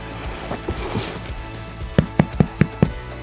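A grain-filled soda bread loaf, just taken out of the wood-fired oven, is tapped five times in quick succession, giving short, dull, hollow low thumps after some faint quieter knocks. The hollow sound shows the loaf is cooked through and ready to eat straight from the oven.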